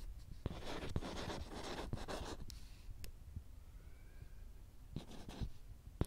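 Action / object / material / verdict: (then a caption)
scrape / small whiteboard with plastic frame / plastic / none. A marker squeaks and scratches across the glossy, letter-printed surface of a small, thin handheld whiteboard with a green plastic frame, held steady close in front of the mic. Soft, breathy strokes with bright hiss come in bursts, punctuated by sharp little taps and a low, dull thud underneath. The strokes thin out partway through before a few more quick scribbles and taps close the clip.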